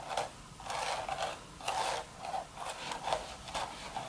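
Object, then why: Woven straw hat crown. Long red nails scratch the woven surface of a hollow, empty straw hat crown. Repeated bursts of dry, rasping scratching come in waves with a papery midrange and bright edges. Short quiet gaps separate the strokes.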